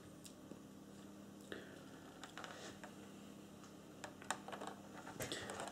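Fingertips resting on the rim lightly tap the saucer section of a large hollow grey plastic Playmates Star Trek Enterprise NCC-1701-D toy starship, held up in both hands with the saucer facing forward. The quiet, irregular taps give short, dry plastic clicks and soft knocks that cluster more densely toward the end, over a faint steady low hum.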